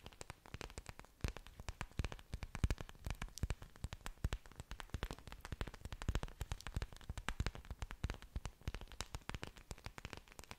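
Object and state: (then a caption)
Orchid leaves tapped and scratched with nails. Long dark nails scratch and tap the large, thick, waxy green leaves of an orchid plant with exposed aerial roots, held close in front of a microphone. A dense, irregular stream of quick, dry taps and crackly scratches continues throughout. Each tap gives a soft, low thump with a bright ticking edge.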